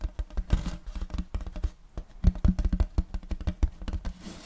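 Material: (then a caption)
Wood. A large round wooden serving board with a checkered end-grain pattern, held upright, is scratched and rubbed with fingertips and nails. The result is a dense run of short, dull, low-heavy taps and scrapes with almost no ring.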